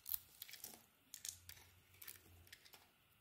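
A utility knife blade carves a solid purple and green bar of soap, making a series of short, crisp scraping cuts. The crunchy slices are quiet, bright and dry, each dying away almost instantly, with soft pauses between them.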